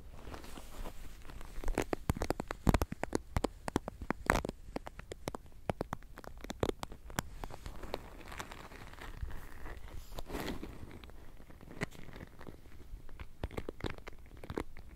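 A hand-sized wooden paddle hairbrush, with a wooden frame and handle and a black rubber cushion holding many plastic pin bristles, is held close to a microphone while long painted nails and fingertips scratch and strum across the bristles. The result is a dense, quiet stream of rapid, sharp crackling ticks and flicks with a soft low rumble underneath, with a few louder snaps standing out along the way.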